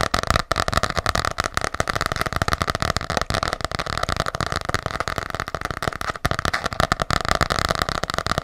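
A small, solid, ornate gold-green hardcover journal with an embossed cover is held close and tapped quickly with long nails. Dense, rapid, dry clicks and taps run without pause for the whole clip, with a steady hollow midrange tone under them.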